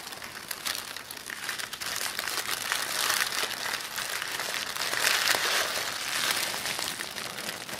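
A thin black-and-white striped tissue paper sheet is crumpled and squeezed between both hands over a wooden table. It makes a continuous, bright, dense crinkle with almost no low end. The crinkle swells louder around the third and fifth seconds before easing off.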